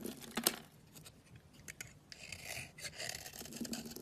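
A solid cream bar soap held in the hand is shaved and sliced with a utility knife, giving soft, crisp scraping and rasping strokes with a bright, hissy edge. A sharper click stands out near the start. The clip ends with a piece being cut off the bar.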